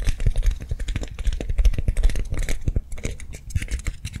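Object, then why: Soft foam lollipop toy. Long nails fast-tap and scratch a hand-sized soft foam swirl lollipop toy held in both hands. The result is a quick, uneven run of dull, low thuds laced with brief bright scratchy clicks, each dying away almost instantly.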